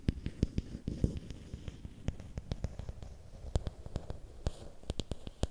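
Fingernails scratch and tap along a long, thin, solid bamboo or wooden stick held in both hands. Sharp, dry clicks with bright tops land at irregular intervals over a low, rumbling scratching bed. Each tap stops dead with no ring.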